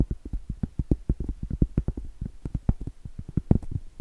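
Very long stiletto acrylic nails tap and scratch the top surface of a round, flat, solid cork trivet (hot pad) about 20 cm across, held horizontally. Roughly two dozen quick, soft, dull thuds land in an uneven rhythm, each low and muffled and dying away almost instantly, with faint scratchy brushing between taps.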